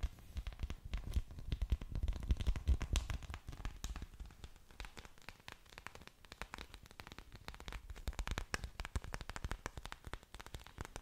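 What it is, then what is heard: Orchid leaves scratched and tapped. Waxy green orchid leaves are scratched and tapped with long dark nails, held up close to a microphone. A dense, irregular stream of dry crackling clicks and scratches comes through, with soft low thumps underneath. It is loudest around the second to third second, then settles into quieter, steady tapping.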